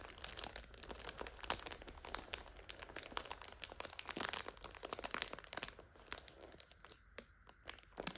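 Fingertips and long nails rub, scratch and crinkle the plastic wrapper of a full multipack of instant noodles standing on its end. The result is a dense run of bright, crackly crinkling with many sharp little snaps that fade quickly, thinning out to sparser, quieter crackles near the end.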